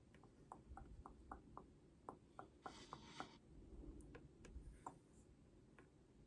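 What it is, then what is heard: Cardboard album box. Long painted nails tap quickly on the flat face of a holographic cardboard album box held up in the air. About sixteen short, dry clicks come in an uneven patter over a low background hum, with a brief brighter scratchy brush partway through.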